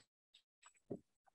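A thick, crisp, semi-processed cotton linter sheet, sold for papermaking, is tapped with the fingernails. Five short, dry taps sound with no ring, and the loudest near the middle is lower and fuller.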